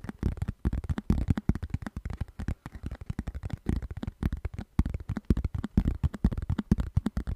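Fingertips and nails rub and scratch across the textured surface of a round orange plastic lid. The result is a rapid, irregular series of short, dull scratching bursts, weighted heavily toward the low end with little brightness, each dying away almost instantly.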